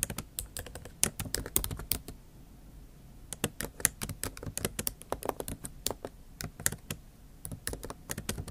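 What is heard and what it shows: Both hands type with long acrylic nail tips on the plastic keys of a MacBook Pro backlit keyboard set in an aluminium body. About 38 sharp, bright clicks and taps come in quick bursts, with a pause of about a second near the middle. Each tap dies away almost instantly.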